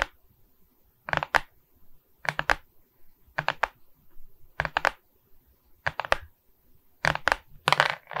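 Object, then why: Plastic resin bead diamond painting on board. Long red nails scratch and tap across the beaded surface of a framed resin bead diamond painting on board, made of plastic beads and held in both hands. Repeated bursts of quick, dry, bright clicking and scratching come in clusters with short pauses between them, with no ring.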